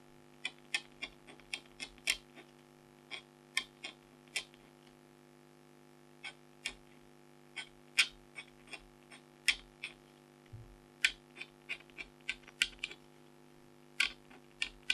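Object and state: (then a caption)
Scratch art card being scratched. A red-handled stylus scratches lines into the lower area of a flat, thin, black-coated foil scratch art card, held by a hand with long blue nails. About 28 short, sharp, bright scratches come at uneven intervals, each dying away almost at once. Beneath them runs a faint, steady hum.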